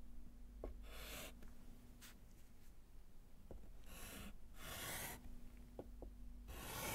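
A gloved hand writes a second word in white chalk on a small wooden-framed slate chalkboard resting on a table. Several bursts of rasping, bright chalk scratches on the slate alternate with light taps and short pauses. A faint low hum runs underneath throughout.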